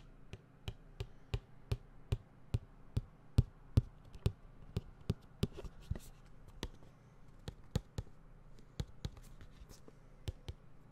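Fingertips tap on a closed, medium-sized white printed cardboard tablet retail box held up beside the microphone. Twenty-six short, dull, low thuds come at an uneven pace of about two to three per second, each dying away almost instantly with a faint bright tick on top. The taps are quiet, over a soft background hiss, with a few stronger hits in the middle of the run.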